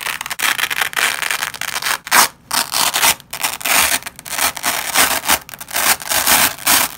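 Black-gloved hands pull a nylon velcro strip apart in short tugs, each giving a bright, crackling tearing rasp. The rips come in quick bursts separated by brief pauses, with the sound concentrated in the high range and almost no low end.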